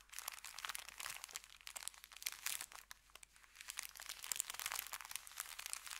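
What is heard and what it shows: Fingertips rub and press across an empty, folded brown kraft paper bakery bag resting on felt. The result is a dense, continuous crinkling and crackling made of many fast, sharp ticks, bright and high with almost no low end. It stays fairly quiet overall, swelling and easing in waves as the pressure shifts.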